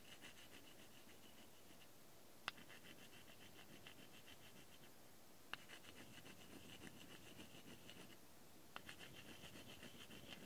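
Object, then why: Wooden toy palette and wooden applicator stick. A thin wooden applicator stick pokes and scratches across the solid wooden surface of a small heart-shaped wooden toy makeup palette with painted color squares, held in one hand. Soft, steady scratching with bright, grainy texture runs quietly throughout, broken by three sharp, short taps that die away almost instantly.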